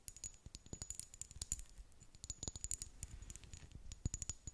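Long nails tap rapidly on a small amber glass serum bottle with a dropper cap, filled with liquid. A dense run of quick, dry, bright clicks and ticks with almost no ring, quiet overall, over a faint steady high-pitched tone.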